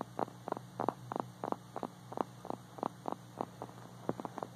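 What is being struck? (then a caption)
Small hard plastic toy dog figurine. A small, hard, glossy white-and-blue plastic dog figurine, likely hollow, is tapped and lightly scratched on its body with fingertips and short nails. About sixteen short, dry, mid-pitched clicks sound in an uneven rhythm, each dying away almost instantly, over a faint steady low hum.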